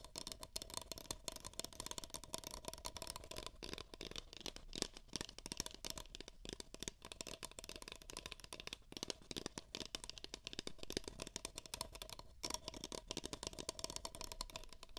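Two identical empty beige paper cups, hollow, are rapidly tapped with fingertips and nails close to the microphone. The result is a dense, continuous stream of quick, dry, bright clicks and hollow taps with almost no ring, at a fairly quiet level.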